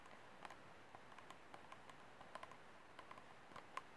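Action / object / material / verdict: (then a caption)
tap / disposable plastic cup / plastic / none. Short nails tap and scratch across the ribbed side wall of an empty, hollow, disposable white plastic cup held sideways. About a dozen soft, dry clicks with brief bright scratches sound over a low hiss, each dying away almost at once, with a faint ring near 1 kHz.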